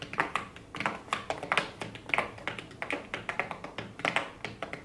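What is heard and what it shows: Very long blue acrylic nails tap rapidly on the inner lid and pressed shadow pans of an open, flat cardboard eyeshadow palette resting on a desk. The result is a quick, irregular run of light, dry clicks with almost no ring, their bright ticks centered around 2.5 kHz.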